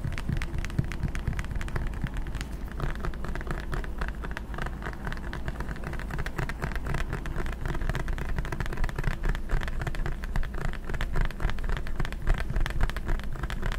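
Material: Plastic.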